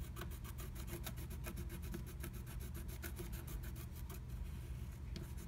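A wooden stylus scratches the coating of a flat black-coated scratch art sheet through a blue butterfly stencil cutout. Quick, repeated dry scratching strokes give a bright, raspy texture over a steady low rumble, continuing evenly throughout.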